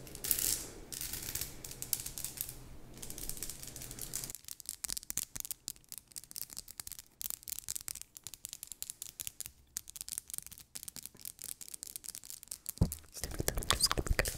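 Long nails run across a thin headband lined with small faux pearl beads, likely plastic, scratching and clicking the beads. A few seconds of dense, bright rubbing give way to a rapid, irregular run of short, dry clicks and scratches at a low level. A louder scraping burst comes near the end.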